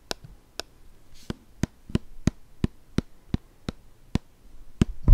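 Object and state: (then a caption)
Plastic squeeze bottle. A hollow white plastic shower gel squeeze bottle with a blue cap and printed label is held in both hands and tapped with the fingertips. Thirteen slow, evenly spaced taps sound as short, dull, low thuds that die away almost instantly, over a quiet background.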